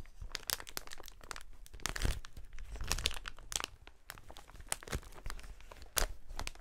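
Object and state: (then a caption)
Plastic air-cushion packaging sheet crinkling. A clear, inflated plastic air-cushion packaging sheet is held against the chest and squeezed and rubbed by hands in fingerless gloves. It gives a dense, continuous crinkling with sharp, bright crackles and brief louder crunching bursts over a soft low rustle, with no voices.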